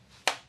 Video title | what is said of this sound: Carbon Fiber Bicycle Frame Care and Repair - PV Bicycle Center | It's almost a dull sound, a reedy sound